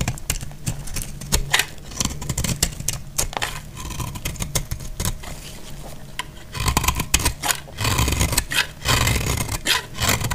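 A hand-held solid bar of dried, multicolor speckled soap is cut and scraped with a box-cutter blade. Dense, dry crackling scrapes and sharp bright clicks run throughout over a low rumble. The cutting grows louder and more forceful from about two-thirds of the way through.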